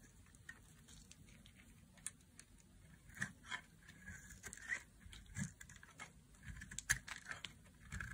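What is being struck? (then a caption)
Bar of soap cut with a knife. A knife blade cuts and scrapes a solid red bar of dry soap into chunky flakes. Quiet, dry crunching and scraping strokes come in an irregular series, each short and clipped with no ring, over a faint low background hum.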